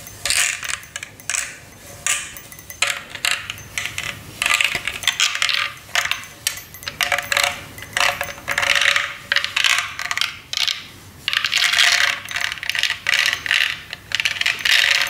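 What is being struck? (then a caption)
Acrylic light-up snowman figure. A hollow, clear acrylic light-up LED snowman figure is held close and tapped and scratched with fingernails. It makes rapid, bright, clicky taps and scratchy bursts with very short ring, over a faint steady tone.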